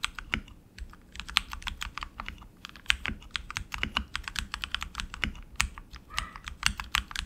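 Both hands type continuously with their fingertips on a tenkeyless RGB mechanical keyboard with tactile switches, plastic keycaps and an aluminum frame. A rapid, steady stream of short, bright, clicky keystrokes rings out with almost no decay, over a faint low thump and soft background hiss.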